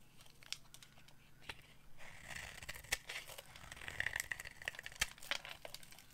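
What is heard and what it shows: A solid, hand-sized pale green bar of dry soap with a black outer coating is held in the hand and carved with a metal knife blade, scraping and cutting off crumbly dry flakes. The sound is quiet, bright scraping and crinkling. Many sharp little crackles and crunches are heard, with a steadier high scrape from about the two-second mark onward.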